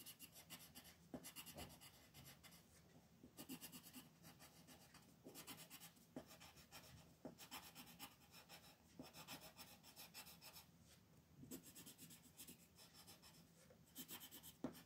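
A green wooden colored pencil scratches back and forth on a thin, flat mandala coloring sheet lying on a table, shading small areas. Quiet bursts of bright, raspy strokes come in quick runs separated by short pauses, with a faint low hum underneath.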